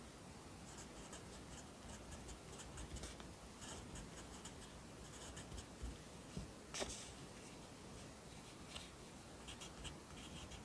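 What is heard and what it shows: A yellow pencil writes at the bottom of the right page of an open lined paper notebook held flat by the left hand. The pencil makes soft, steady scratching across the paper, with faint bright strokes and a few slightly louder scrapes over a low, quiet background.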